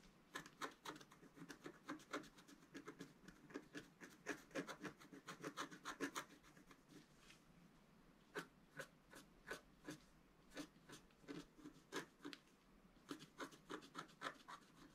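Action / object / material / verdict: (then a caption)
scrape / black-coated scratch-art paper scratched with a wooden stylus / coated paper / none. A wooden stylus scratches lines into the planet on a flat sheet of black-coated scratch-art paper held by the left hand. Quick, dry, raspy strokes come in irregular bright bursts, with a brief quiet stretch midway before the scratching resumes.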